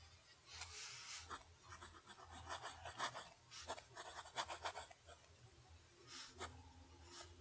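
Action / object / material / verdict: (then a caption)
scrape / lined paper sheet under a fountain pen nib / paper / none. A fountain pen nib writes cursive strokes on a flat sheet of lined paper, scratching the paper. The sound is a series of quiet, bright, raspy bursts of varying length with short pauses between strokes.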